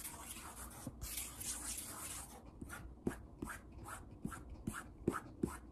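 Index fingertips jab and tap on the surface of a large, solid wood-grain tabletop. A soft, bright rustling hiss opens the clip, then gives way to quick, irregular taps. Each tap is a dull, low knock with almost no ring.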